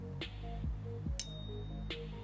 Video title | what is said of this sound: Quick Tests. Fake Silver or Gold? Rare Earth Magnet Test. Scale | do you hear that ring that is a real American Silver Eagle